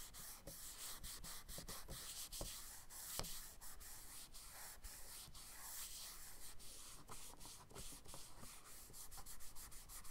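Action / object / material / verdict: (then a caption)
scrape / charcoal stick on a kraft paper sketchbook page / paper / none. A charcoal stick held in the fingertips is rubbed and stroked across a page of a spiral-bound brown kraft paper sketchbook lying flat on a dark wooden table, and fingers smudge the marks. The result is a quiet, steady, dry scratchy rubbing with many short, crisp stroke ticks scattered throughout.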